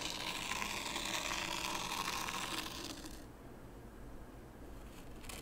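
A small wooden rake is pulled along the far edge of fine white sand in a shallow wooden tray, scraping grooves. A bright, gritty, steady scrape fills the first three seconds, then fades to a quieter, duller scratching, with a brief bright scrape returning at the very end.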